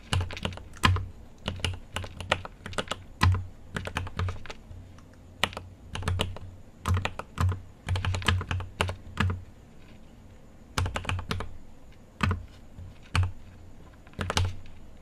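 Fingertips type on a mechanical keyboard with an aluminium case and plastic keycaps, producing sharp, bright clacks over a low thock. The keystrokes come in quick irregular bursts separated by short pauses, each one dying away almost at once.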